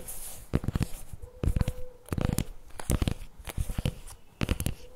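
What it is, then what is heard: Plastic spread tub. Fingertips and nails tap and scratch the top lid and upper sides of a CremaNovi plastic spread tub standing upright. Quick clusters of dull, low-heavy taps mix with short scratchy bursts, with a faint steady hum underneath.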